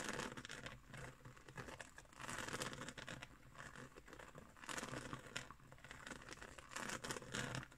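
Long nails scratch across a round, flat woven straw trivet, making a dry, crinkly rasp with a bright, papery texture. The scratching runs almost continuously, swelling into louder strokes near the start, middle, and end, then easing back to a softer scrape in between.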